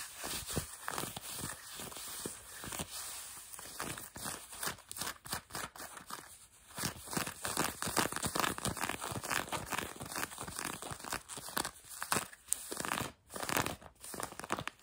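Long nails scratch light blue denim jeans stretched over a knee, producing a continuous run of quick, dry, rasping strokes. The scratching is bright and noisy with little low end, rising and falling in intensity with brief pauses between bursts.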